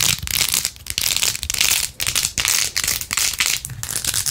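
Long acrylic nails quickly scratch and rub pink plastic pearl beads glued to the back of a handheld, rose-gold-edged plastic phone case with a phone inside. The result is a dense, bright, crackling rasp in rapid bursts with short dips between strokes.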